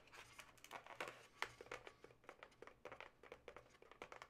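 Long nails tap and scratch the taut surface of a yellow twisted latex modelling balloon with two inflated hollow segments. About twenty quick, quiet taps and scrapes sound crinkly and bright, each dying away almost at once, with very little low end.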